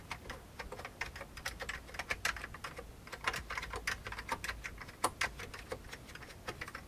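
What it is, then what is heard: Old plastic computer keyboard being typed on. Fingertips type on the keys of a full-size vintage beige plastic computer keyboard, producing a steady run of quick, dry clicks and clacks with a bright edge and almost no ring. The keystrokes come in uneven bursts, some landing harder and louder than others.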